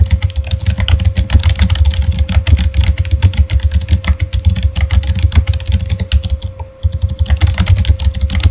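Fast typing with both hands' fingertips on a backlit Razer mechanical keyboard with plastic keycaps produces a rapid, steady run of short, deep clacks with a strong low thump. A faint constant tone sits beneath the keystrokes, and the typing pauses briefly near the end before resuming.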